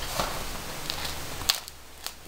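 A freshly baked Italian ciabatta loaf, just out of the oven, is handled and its crust crackles. Four sharp, bright crackles pop out over a soft, steady rustle, showing a crisp, properly baked crust.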